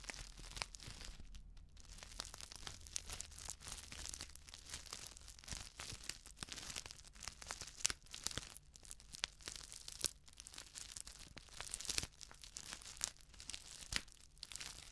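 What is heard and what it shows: A flat, sealed plastic instant soup sachet filled with dry contents is crinkled and scratched with long nails. The result is dense, bright crackling and scratchy crinkles with many sharp clicks over a faint low hum, and no speech.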